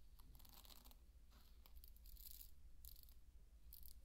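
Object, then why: Pearl barley grains. Handfuls of dry pearl barley are scooped and poured from the palm onto a bed of the same grains. Bursts of bright, gritty rattling and crunching rise and fade over a steady low rumble.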